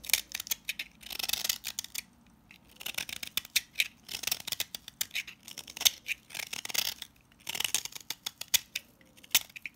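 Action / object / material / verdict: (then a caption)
scrape / salt scrub soap bar / salt soap / none. A box-cutter blade scrapes grainy shavings off the face of a pink, palm-sized solid salt scrub soap bar held in hand. The result is bursts of bright, dry, crackling scrapes and sharp gritty clicks, separated by brief quiet pauses.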